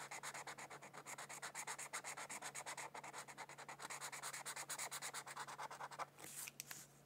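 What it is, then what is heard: Felt-tip marker coloring on paper. A felt-tip marker rubs back and forth across the border of a thin white paper mandala coloring sheet lying on a book. Dozens of quick, bright, scratchy strokes follow one another in a fast, uneven rhythm for about six seconds. The strokes then give way to a few softer scuffs before a quiet hiss.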